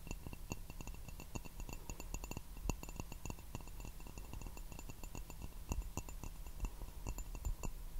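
Fingertips and nails tap on the base and sides of an empty, hollow turquoise glazed ceramic teacup without a handle, held upside down in both hands. The result is a steady run of quick, light taps: soft dull knocks with faint bright clinks that die away almost instantly, over a constant low rumble.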